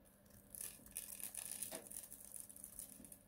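A palm-sized, blue-and-white striped bar of dry soap, pre-scored in a grid and held in a gloved hand, is shaved with a snap-off utility knife blade. Crunchy cubes break off and crumbs fall away with a rapid run of dry, bright crackles and scraping crunches. Each snap is short and quickly gone, with a faint low hum underneath.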